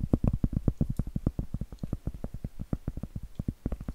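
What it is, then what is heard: Cork trivet. Acrylic nails scratch the textured flat face of a round solid cork trivet in a quick run of about 28 short strokes. Each stroke is a soft, dull, low scrape with almost no ring and no bright content, pulsing steadily across the clip.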